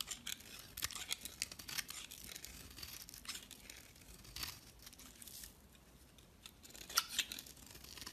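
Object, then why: Bar of soap scraped with a knife blade. A utility knife blade scrapes flaky shavings off a solid white bar of soap held in the hand. Quiet, bright, dry scraping strokes come in quick bursts with little low end, pausing briefly midway before a few sharper, louder scrapes near the end.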